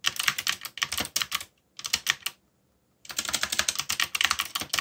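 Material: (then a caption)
Plastic. Fast fingertip typing on a backlit plastic mechanical keyboard with dark plastic keycaps produces bright, crisp clicks in quick bursts. The clicks stop briefly, resume for a short run, fall silent for about half a second, then return as a steady stream of rapid keystrokes to the end.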